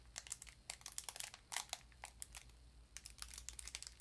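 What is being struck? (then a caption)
Sardine tin in a foil paper wrapper. A small rectangular sardine tin in a crinkly foil paper wrapper, appearing full and held in the hands, has its wrapper edge scratched and crinkled by long nails. Quiet, bright, crisp crinkles and scratchy clicks come in uneven bursts over a faint low hum, each sound stopping almost at once.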